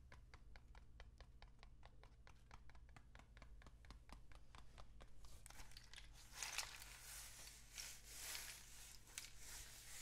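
A long, hollow, painted cardboard rain stick is held horizontally in both hands with fingertips on its surface and tilted. For the first five seconds it gives a steady run of quick, dry ticks. Then the sound swells into a denser, bright, rushing patter like falling rain over a faint low hum.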